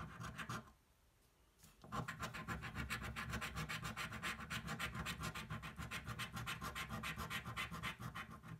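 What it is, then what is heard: Cardboard scratch-off lottery ticket. The edge of a coin scratches a thin, flat cardboard scratch-off lottery ticket held flat on a table. A short burst of scraping stops for about a second, then resumes as a steady run of quick, rasping back-and-forth strokes, roughly three to four per second. The strokes have a bright, papery grit over a low rub.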